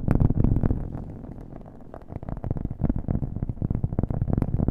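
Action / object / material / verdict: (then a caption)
tap / cork coaster / cork / none. A round, flat, solid cork coaster held next to the mic is tapped quickly with fingernails, with an echo effect on the audio. The fast, uneven taps are dull, low thuds with short decays. They fade softer around the middle of the clip, then grow louder again toward the end.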